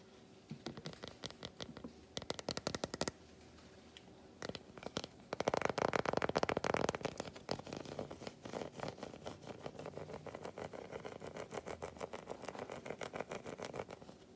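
Fingernails scratch and tap along the edges and surface of a large, unwrapped solid milk chocolate bar held in both hands. Short bursts of quick, dry clicks give way to a louder, dense stretch of rapid scratching partway through. Steady, lighter tapping follows, with a midrange tone around 555 Hz and little lingering ring.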